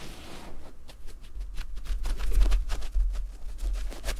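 Fingertips and nails scratch across the loops of a thin, soft, cream terry cloth fabric pad beside foam microphones. A quick series of short, dry scratching strokes rises over a steady low rumble, each stroke with a faint bright edge that dies away almost at once.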